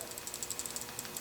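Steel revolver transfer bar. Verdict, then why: Loose. A Ruger revolver chambered in .454 Casull is handled, and its loose steel transfer bar safety rattles with about nine quick, light, bright clicks over a faint hiss. Unlike a tight Smith & Wesson revolver that makes no sound when shaken, this rattle is an unwanted, annoying fault.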